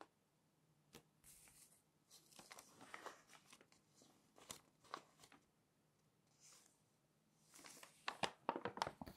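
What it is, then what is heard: Glossy paper magazine pages. Glossy magazine pages are flipped by hand and rubbed flat with the fingers. Soft, intermittent paper rustles and crinkles rise and fade in quiet bursts, growing busier and crisper toward the end with bright, crackly page sweeps.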